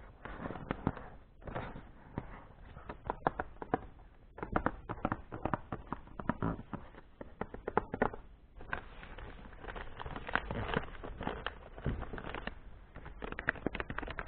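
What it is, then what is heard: Gift-wrapped paper box tapped and scratched. Fingertips and painted nails tap and scratch across a medium hollow box wrapped in printed gift paper with a light-blue ribbon, its contents not visible. Many quick, dry taps with almost no ring-out mix with a soft, papery rustling scratch that rises and falls throughout.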